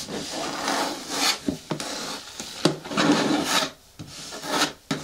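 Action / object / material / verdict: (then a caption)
scrape / plastic bin with lid / plastic / none. Long nails scratch the sides of a hollow, medium-hard green plastic bin with a lid, making raspy, bright rubbing strokes that swell and fade. A few sharp clicks cut in between strokes, and a faint hollow midrange tone sits under the scratching.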